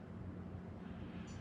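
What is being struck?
Nothing is struck.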